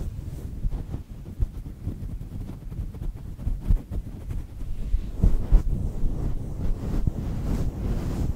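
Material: Faux fur.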